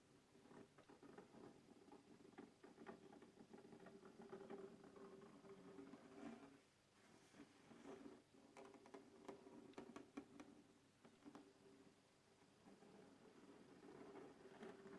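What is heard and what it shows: Fingertips and nails scratch and tap the lid of a closed black textured hard plastic case with a RODE logo, resting on a wooden table. Quiet, continuous scratchy patter is broken by sharp, short taps, with a hollow mid-low tone from the case and little bright content.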